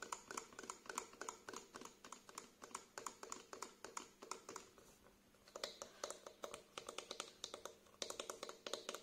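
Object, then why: Small plastic squeeze bottle. A small plastic face wash bottle with a green cap, held sideways, is tapped along its body with fingertips and short nails. Quick, light, clicky taps come in steady bursts, with a brief lull near the middle. Each tap is short and hollow with a bright edge and almost no ring.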